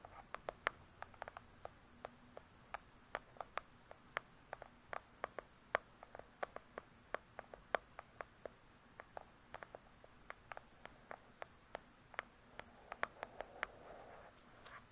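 Long, pointed acrylic nails on both hands tap the front of a large, solid hardcover book lying flat, with a glossy paper-covered cardboard cover. About fifty quick, crisp clicks land in an irregular, light patter; each is short and dry, with no ring, centered in the midrange and reaching up into bright highs.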